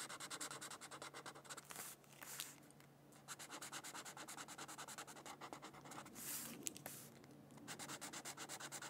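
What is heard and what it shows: An orange Crayola felt-tip marker rubs over the center of a thin white paper mandala coloring sheet lying on a book. It makes quick, rhythmic, scratchy back-and-forth strokes with a bright, high hiss. The strokes pause briefly twice and then resume.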